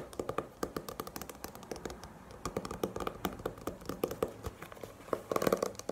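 Long painted nails rapidly tap and scratch the glossy printed paper cover of a small, solid paperback manga volume held upright in the hands. The taps are quick, dry clicks with almost no ring, centered in the midrange around 500 Hz with faint high ticks. A denser, louder flurry of taps comes near the end.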